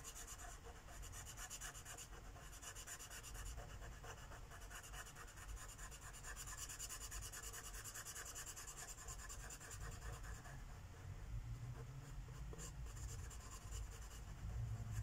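A light purple Sharpie marker tip scribbles and rubs in quick strokes on a flat paper page of a coloring book lying on a wooden table. A soft, continuous scratchy rubbing carries on throughout, with rapid stroke textures and a bright papery hiss over a low, muffled rumble.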